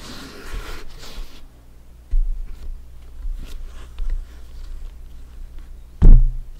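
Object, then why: Inflated synthetic leather soccer ball. A full-size inflated hollow soccer ball with stitched synthetic leather panels is held and tilted, then cupped and tapped with bare fingertips. Soft, airy rustling opens the clip, followed by two deep, muffled thumps, one near the middle and a louder one near the end. A low, steady hum runs underneath throughout.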